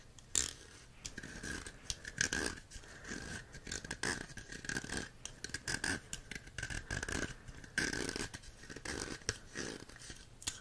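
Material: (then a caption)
Plastic. A green plastic jellyfish toy with several hollow corrugated pop tubes is handled and scratched with fingertips and nails. The result is a steady run of dry, bright scratching and ridged rasping with scattered sharp clicks. A faint, hollow tone hums along underneath for most of the clip.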